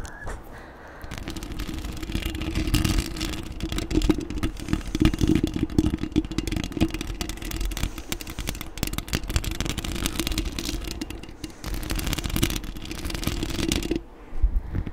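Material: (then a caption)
Metal mesh. Long acrylic nails on both hands scratch the black metal mesh grille of a desktop microphone. A dense, continuous scratching and rasping noise carries a steady tonal hum around 310 Hz, with heavy low rumble, until a brief quieter pause near the end before a few final scrapes.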